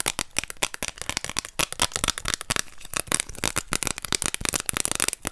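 A thin orange plastic card is held in both hands while long nails scratch and tap its surface and edge. The result is a dense, rapid stream of sharp, dry clicks and scratchy ticks, bright and mostly high-pitched, each dying away almost instantly.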